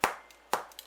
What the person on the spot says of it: the way you can tell if it's cooked is flick it hear that hollow sound